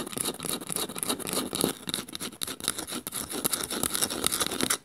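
Long nails scratch the woven underside of a small, hollow bamboo bowl held upside down. The result is a fast, uneven run of dry, crackly scrapes with a bright, hissy top and little low end. Each stroke dies out almost at once.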